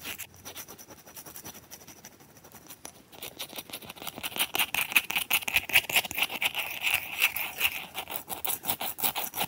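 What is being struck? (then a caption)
Plate-sized ice disc with frozen-in ice cubes. Long fingernails scratch and rub a round, solid, frosted, plate-sized disc of ice with heart-shaped ice cubes frozen into it, standing on a towel. Soft, faint scratching for the first few seconds gives way to louder, fast, crisp strokes. The strokes come in an uneven rhythm and sound bright and high-pitched.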